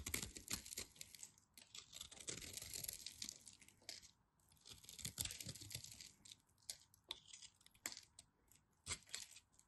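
A craft knife scrapes and carves a solid orange bar of soap with a scored grid surface. Crisp, bright crackling and scraping come in dense bursts, separated by short quiet pauses.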